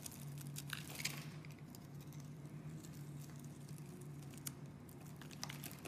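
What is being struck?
Bar of soap.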